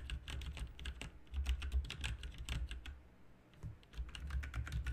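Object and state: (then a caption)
Mechanical keyboard typing. Fingertips of both hands type continuously on a full-size backlit RGB mechanical computer keyboard with plastic keycaps on a hollow plastic and metal case. A rapid, uneven stream of bright, short clicks rides over a heavy low thump. Typing eases briefly around the third second before picking up again.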